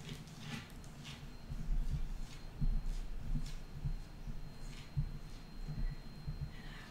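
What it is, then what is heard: Wooden tabletop tapped with fingernails. A solid wooden tabletop is tapped and scratched with the long nails of both hands. Soft, dull, low thuds come in irregular clusters with brief faint scratchy ticks above them, each tap dying away almost at once.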